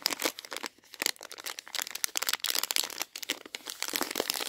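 Long painted nails and fingers crinkle and squeeze a Revels plastic bag full of chocolates. Bright, dense crackling comes in quick overlapping bursts with brief pauses, and there is almost no low end.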